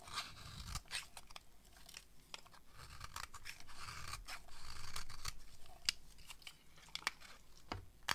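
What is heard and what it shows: A utility knife blade scrapes fine shavings off a solid yellow bar of dry soap held in the hand. Quiet, crisp scraping and shaving strokes come in an irregular run of short, bright bursts over a soft low rumble.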